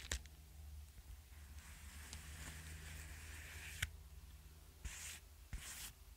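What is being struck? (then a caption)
Padded kraft-paper bubble mailer. Fingertips and nails tap and scratch the paper surface of a flat, apparently empty yellow kraft-paper bubble mailer held up near the mic. Brief sharp taps land over a steady low hum, while the scratching comes in soft, bright, hissing rasps that swell and fade.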